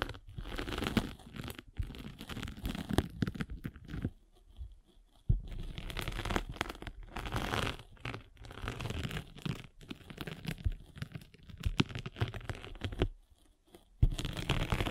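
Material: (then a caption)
Foam. A derma roller with metal spikes is rolled over the gritty top of a gray and blue foam sanding sponge, a solid block held in one hand. It makes a dense, scratchy crunching and crackling with a heavy low rumble, in stretches broken by two brief pauses.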